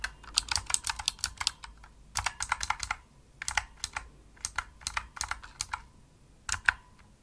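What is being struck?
Plastic mechanical keyboard keys.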